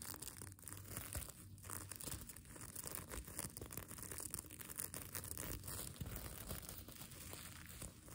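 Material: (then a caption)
Plastic sequins. Fingernails scratch and rub across the plastic sequins of a sequin fabric mermaid tail blanket, making a continuous dense crinkling, rustling texture with bright high hiss and a soft low rumble underneath. The scratching runs steadily without pause, in quick irregular strokes.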